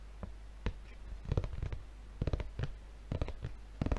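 Fingertips of both hands scratch and tap across the red plastic film wrapper of a paper refill pad held up in front of the face. Quiet, dull thuds and brief crinkly scratches come in small clusters and die away at once, mostly low in tone with little brightness.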